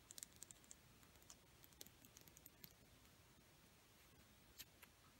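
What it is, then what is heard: Wooden colored pencil. A single small, solid, painted dark red wooden Crayola colored pencil is held up close and tapped and scratched with long painted nails. Quiet, sharp, bright clicks and ticks come irregularly, with a few louder taps over a soft, steady scratchy rustle. Each click is very short and dies away almost instantly.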